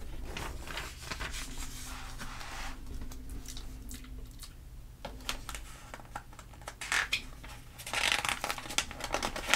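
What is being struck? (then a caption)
Glossy paper magazine. A palm and fingers with long nails rub the surface of an open glossy paper catalog magazine, then flip to the next spread. Soft, steady swishing and scratching gives way to sharp, crisp crinkles and bright snapping page sounds, especially toward the end. A low, steady hum runs underneath throughout.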